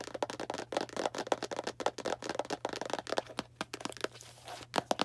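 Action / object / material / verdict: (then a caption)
tap / small cardboard box / cardboard / none. Long black nails tap quickly on a small Arm & Hammer cardboard baking soda box held in the hand, making a rapid run of about two dozen crisp, dry clicks with a hollow, papery mid tone. Each tap dies away almost at once. Near the end the taps briefly give way to a soft, rough scratching before a few final sharp taps.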